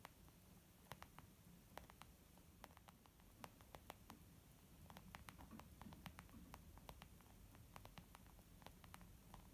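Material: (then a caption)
Leather. Fingertips and nails tap quickly with both hands on a white textured leather zip makeup bag, soft and flat. A steady stream of quiet, sharp clicks and soft pats rises over a low, rumbling background hiss. Each tap dies away almost at once.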